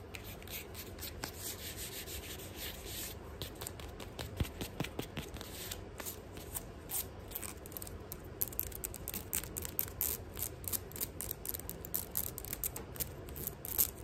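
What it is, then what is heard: Synthetic leather sandal. Long nails rapidly tap and scratch the synthetic leather straps, chain trim and edges of a silver-grey sandal held close up. The sound is a steady, quiet rubbing and scratching layered with sharp, bright clicks that grow denser and more frequent toward the end.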